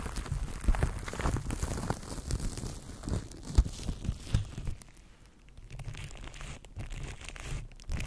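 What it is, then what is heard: Plastic cling wrap crinkled on a microphone. Fingertips scratch and crinkle clear plastic cling film wrapped around a microphone, making dense, close crackling and crinkling with a heavy low rumble. The sound eases to quieter, sparser rustling just after the midpoint, then picks up again toward the end.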